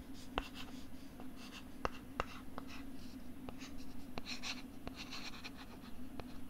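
Fingertips and nails scratch and tap the textured plastic back of a thin, flat, pink plastic LCD writing tablet, about 10 inches, held back side out next to a binaural mic. Soft, hissy scratching runs throughout, broken by several sharp, dry taps that stop almost instantly, over a steady low hum.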